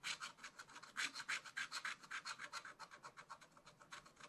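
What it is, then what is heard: Scratch art paper being scratched. A wooden stylus scratches across black coated scratch art paper on a leaf area, making a rapid series of short, dry rasping strokes. Each stroke is bright and hissy, with little low end, at a quiet level and a slightly uneven rhythm.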